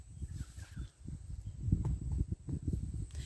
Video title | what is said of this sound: Jackfruit season commences! | We're listening for that dull hollow sound.